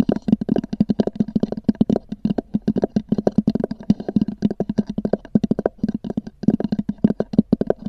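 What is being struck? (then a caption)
Fabric-covered EVA hard-shell case. Long nails on both hands tap rapidly on a small black oval EVA hard-shell zippered case with a textured fabric-covered shell, resting on a fur rug. The result is a dense stream of short, dry clicks with a hollow low body around 215 Hz and almost no ring, coming in quick bursts with brief pauses.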